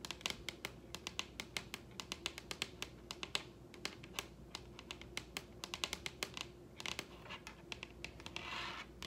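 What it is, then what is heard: Wooden table. Long red-painted acrylic nails on both hands tap and scratch the stained-grain top of a large solid wooden dining table. Dozens of quick, dry, bright clicks come in an irregular stream over a faint steady low hum. Near the end they give way to a brief, airy scratching wash.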